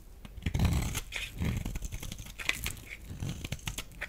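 A metal utility blade cuts and scrapes a solid rectangular, pale yellow bar of dry laundry soap, breaking off crumbly flakes. Dry, crunchy scraping and crackling run throughout, with bright, brittle snaps over heavier low thuds near the start and again around the middle. Each sound stops short, with almost no ring.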